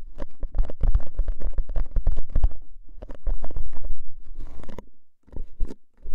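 A hollow composite cardboard crisp can with a metal rim is held upright while fingernails scratch along its top rim, then fingertips tap on the label side. The result is a quick, irregular run of dull, hollow, low-pitched taps and scratchy patter, with a brief quieter pause before a few final taps.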